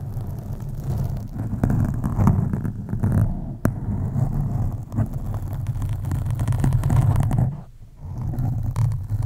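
Long acrylic nails on both hands slowly scratch a black foam windscreen on a USB microphone. The result is a deep, continuous, muffled rumble with dense low scraping texture and almost no high end, fading briefly near the end before resuming.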